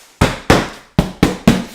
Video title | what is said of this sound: How to Pack Kitchen Part 2 | it's pretty solid I mean things like a rock you should be able to shake it and not hear anything rattling in there